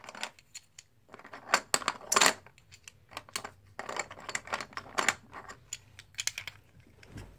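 Solid plastic or composite poker chips are scooped up and stacked by hand, then a red stack is riffled between the fingers. The result is a run of sharp, bright clicks and clattering taps, some in quick bursts, with very little low end and short decays.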